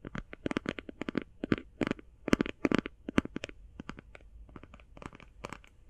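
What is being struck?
Plastic eye shadow palette.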